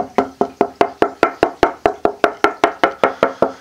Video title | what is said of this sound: Luthier Wood Review: Sitka Spurce for Acoustic Tops tonewood | It's got a beautiful tap tone. You can hear the nice ring throughout the whole piece of board.